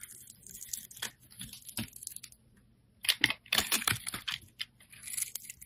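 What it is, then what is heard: Glycerin soap bar being shaved. A steel utility blade shaves curls from a hand-held, solid, translucent orange embossed glycerin soap bar. The result is a series of crisp, bright scraping and crackling strokes, a short quiet pause partway through, and then louder, denser shaving toward the end.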